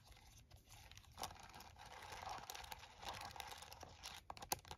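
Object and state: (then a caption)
Plastic calculator keys. A plastic TI-34 scientific calculator lies on a towel while one hand taps and presses its keys with fingertips and nails. Quiet, rapid, crisp plastic clicks and taps run throughout, with a bright, crinkly edge and a few sharper, louder presses near the middle and end. Each tap dies away almost instantly.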